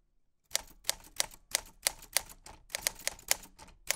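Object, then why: Metal manual typewriter. White-gloved fingertips type on a black 1940s Smith-Corona portable typewriter with a metal body, round keys and paper loaded. Each press brings a sharp, bright key click and typebar strike, with very short ring and almost no low end, in a quick uneven run after a brief silence.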